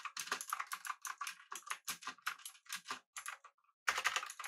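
Fingertips of both hands type on a full-size pink typewriter-style mechanical keyboard with an aluminum body and round plastic keycaps. Rapid, bright, clicky keystrokes come in quick bursts, pause briefly near the end, then resume in a dense flurry.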